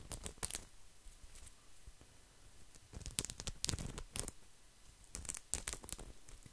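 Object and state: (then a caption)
Woven straw placemat. A round, flat mat of thin, solid, coiled woven straw is scratched with fingertips and nails close to the mic. Clusters of dry, crackly scratching bursts with bright, sharp edges come and go, separated by quieter stretches of faint low rustle.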